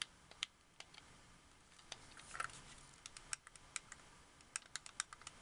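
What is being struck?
Hard-plastic game controller.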